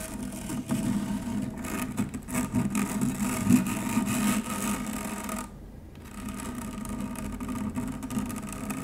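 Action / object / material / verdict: scrape / stainless steel wire-mesh strainer / stainless steel / none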